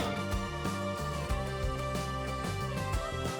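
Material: Nothing is struck.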